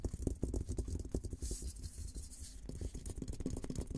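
Fingertips scratch and tap across the top of a hollow, olive-green painted steel military helmet. A rapid series of dull, low, short thumps pauses midway for a brief, high, hissy scrape across the shell before the tapping resumes.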